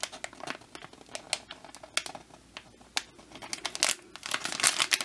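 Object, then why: Plastic packaging bag. Fingertips grip and crinkle a hand-sized, soft, printed clear-and-brown plastic packaging bag that holds a foam bear squishy, which may add a little to the sound. Dense, bright crinkling comes in quick bursts with short rustles between them, and it gets busier and louder toward the end.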